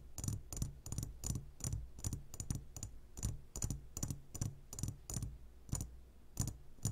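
Fingertips of both hands tap the sides of a clear glass jar full of gummy candies. The result is a quick, irregular run of short, dry taps, each with a bright glassy click over a soft low thud and almost no ring.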